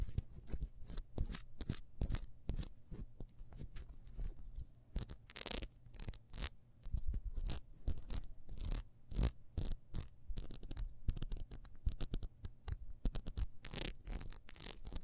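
Long nails scratch the ridged sides of a solid yellow ribbed beeswax candle held in the hand. The result is a fast series of short, dry scratching bursts that sweep from a low rumble up to a bright hiss, with no ring after each stroke.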